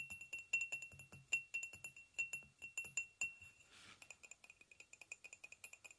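Fingernails of both hands tap rapidly and unevenly on a hollow white ceramic mug with a handle resting on a blanket, producing bright, short clicky ticks with a faint high ring near 2.7 kHz. Partway through, a brief soft hiss interrupts the taps before the quick tapping resumes.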